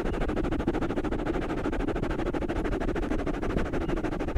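Fingertips of both hands scratch and rub soft, porous black foam microphone covers, producing a dense, continuous, muffled crackling with rapid, irregular strokes. The sound is heavy in the low end with almost no bright top, and each scrape dies away instantly.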